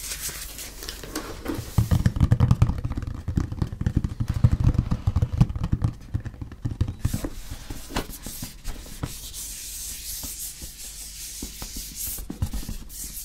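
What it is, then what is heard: Cardboard box being rubbed and scratched. A medium printed cardboard retail box for a Rode SMR shock mount, hollow and held in both hands, is turned while fingertips rub and scratch its surface. Dense, irregular rubbing and scratching with low hollow thumps from the box is busiest in the first seven seconds, then softens into lighter, brighter scraping.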